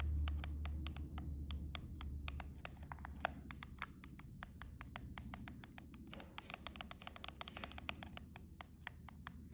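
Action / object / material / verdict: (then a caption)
tap / cardboard box / cardboard / none. Long rhinestone-covered press-on nails tap and scratch along the edge of a silver cardboard nail box, heard close up. Rapid, slightly uneven clicks with a crisp, bright edge and almost no ring run through the whole clip over a steady low rumble.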